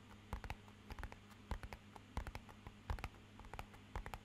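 Fingernails and fingertips tap rapidly on the faces and edges of a small, rigid, matte-black rectangular hollow cardboard box. The taps land as quiet, dry clicks and soft hollow thumps in irregular bursts, each dying away almost at once, over a faint steady low hum.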